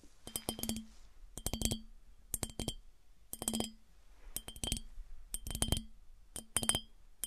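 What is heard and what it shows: Fingernails tap on a smooth glass piggy bank, giving bright, glassy clinks with a high ringing tone. The taps come in quick clusters separated by short pauses, each clink dying away almost at once.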